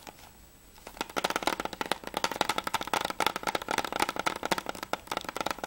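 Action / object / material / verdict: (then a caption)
tap / hard plastic game case / plastic / none. After about a second of near silence, fingernails tap fast and scratch along the hard plastic surface and spine of a closed PS3 game case for Mirror's Edge as it is rotated from front to spine to back. The result is a rapid, dense run of short, dry clicks with a bright, crisp edge and a mid-range plastic tone, with almost no low end.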